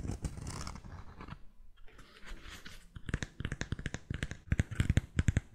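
Fingernails tap and scratch along the cork footbed, brand-printed sole edge and white straps of a cork-soled sandal. A soft, low rustling scrape fills the first three seconds, then gives way to a quick, uneven run of short, dry taps that grow louder toward the end.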